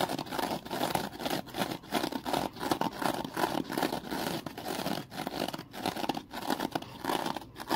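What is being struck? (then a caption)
Foam kitchen sponge with scouring layer. A small, porous rectangular foam kitchen sponge with a scouring layer is held by hand and scratched and squeezed with the fingertips. It gives a continuous, close, dry scratching and crinkling texture, mostly in the low-mid range, with rapid rough strokes rising and falling in loudness.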